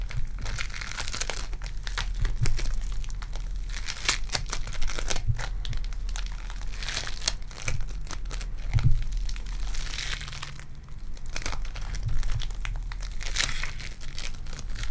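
A lilac foam bead clay ball is squished, then stretched apart between hands with long dark nails. It gives a continuous bright crinkling and crackling of tiny popping beads over a steady low hum, with occasional louder crunches.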